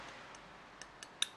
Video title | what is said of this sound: なぜ鉋をうまく使えないのか？素人DIY的に考察してみた／Why can't you use your "Kanna" well? | 金属音カンカンカンとか金とか言う